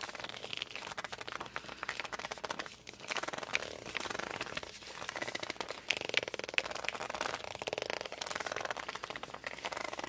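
Fingertips grip and rub the cover of a glossy hardcover book, producing a continuous, dense stream of bright, crackly friction noise. Short squeaky tones around 2.5 kHz occasionally stand out, with almost no low end.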